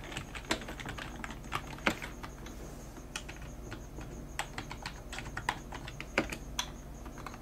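Both hands type rapidly on a full-size black plastic computer keyboard with a hollow body and keys, using long dark-painted nails and fingertips. Quick, sharp clicky taps fall at an uneven pace, some louder than others, over a steady low hum.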